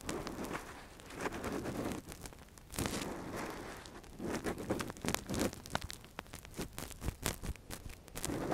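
A thin metal earpick, held in a gloved hand, scratches and probes inside the hollow canal of a soft, translucent, hand-sized silicone ear model that covers a binaural microphone. The result is close, muffled scraping and rustling, broken by many sharp little clicks and crackles.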